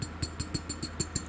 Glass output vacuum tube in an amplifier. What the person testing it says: a lot of movement happening in there